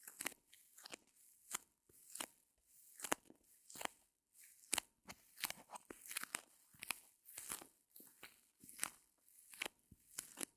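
Long fingernails press and scratch the top surface of a small white solid reticulated foam block held between the fingers. The result is a steady series of short, dry, bright crunching scratches with almost no low end and no ring, each one separated by brief quiet gaps.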